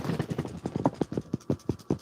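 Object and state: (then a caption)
Soapy water bottle with the right soap ratio. A plastic squeeze bottle of water mixed with soap, used to lubricate sharpening stones, is shaken in a quick rhythmic series of muffled, low-pitched sloshes with no bright content. The early sloshing is busier, then the shakes turn into softer, more separate thumps as the liquid quiets down, which shows the soap-to-water ratio is right.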